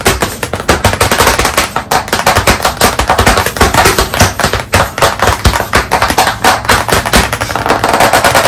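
Both hands rapidly tap small pieces of chalk against the flat surface of a large black chalkboard in a wooden frame, leaving dots and streaks. A fast, continuous stream of sharp, dry clicks and knocks is heard, each tap brief with almost no ring, forming a dense rattling, burst-like texture throughout.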